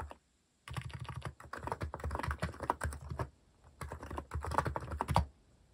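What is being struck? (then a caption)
Mechanical keyboard with plastic keycaps. Fingertips type steadily on a compact white-cased Hanmumu mechanical keyboard with cat-themed plastic keycaps. The keystrokes come as rapid, deep, muted clacks in two bursts separated by a brief pause.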